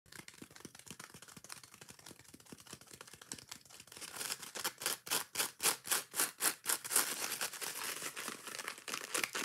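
Long painted nails quickly scratch and tap on both sides of a dry, rectangular, hand-sized dish sponge made of soft, porous yellow foam with a green abrasive scouring layer. Quiet, rapid, fine ticking and light scratching give way after about four seconds to louder, rhythmic, bright scraping strokes with a hissy rasp. The sound then continues as steady fast scratching.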